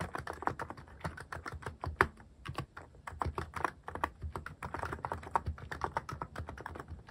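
Fingertips type quickly on a cream plastic-cased mechanical keyboard fitted with cat-themed plastic keycaps. The result is a steady, dense stream of short, dry key clacks with a soft low thock and little bright ring, with a few sharper strikes standing out.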